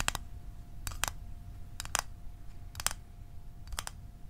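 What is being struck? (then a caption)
Small metal mint tin. Fingernails tap quickly on a small, closed, hollow rectangular metal Altoids mint tin. The taps come as short, bright, dry clicks in quick pairs, spaced about once a second and not evenly. There is no ring after each tap, and a faint steady hum sits underneath.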